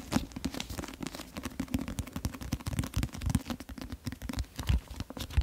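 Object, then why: Paperback book with card cover. Fingernails scratch and tap the teal illustrated card cover of a medium paperback book, "Le Destin du Roi...", held solid beside the mic. The result is a dense run of quick, dry scratches and taps with a heavy low thump and little brightness, each tap dying away almost instantly.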